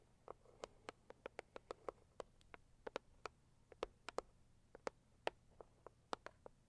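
Long acrylic nails on both hands tap quickly on a hollow, medium-sized pink floral Saviland cardboard box. About 26 separate sharp, clicky taps land in an uneven rhythm, each with a hollow midrange knock around 640 Hz and a brief bright edge. The taps are quiet and die away almost at once over a soft, steady background hiss.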